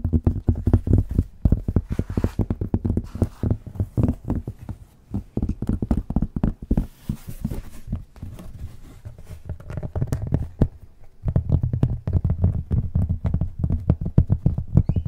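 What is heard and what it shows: Fingertips and nails tap and scratch the cork side of a thin, flat, solid rectangular cork placemat held in front of and partly above the microphone. Rapid, dull, low thuds with almost no ring come in dense bursts with light scratchy texture. The sound thins out in the middle and then returns loud and busy near the end.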